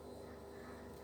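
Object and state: Nothing is struck.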